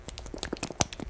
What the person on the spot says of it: you can hear how liquidy it is